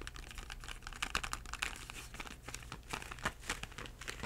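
A small hollow Crayola cardboard box full of 8 crayons is held in both hands and tapped with short-nailed fingertips. The result is a steady stream of quick, dry, papery taps with a crisp, bright click and very short ring, over a low background hum.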